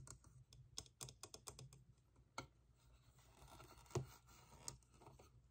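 A small hollow vinyl Youtooz figure shaped like an hourglass, painted to look like wood and glass, is tapped and scratched with fingertips and nails. A quick run of soft, hollow taps with a low body and bright clicky edges comes first, then scattered single taps and faint scratching. Each tap dies away almost at once.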